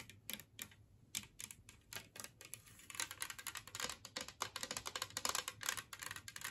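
Long nails tap quickly on a large, flat, green glazed ceramic Christmas tree-shaped plate lying empty on a table. Scattered light taps come first, then turn into a dense, rapid run of bright, clicky strikes. Each tap stops short with almost no ring.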